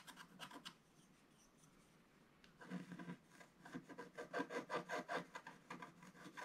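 A wooden stylus, only partly in view, scratches the lower fish on a solid, flat, black-coated scratch art page about A4 in size. A few quick, dry rasping strokes come first, then a near-silent pause, then a louder, faster run of rhythmic scratching with a bright, papery texture.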